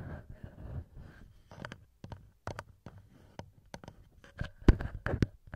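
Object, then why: Metal microphone capsules on a handheld recorder. Bare fingertips with short nails tap and rub the two small knurled metal XY microphone capsules on top of a black TASCAM DR-07X recorder. Close, soft scratchy rubbing alternates with many quick, dry taps that stop short with no ring. The sound is mostly low and thumpy, with bright ticks on each tap.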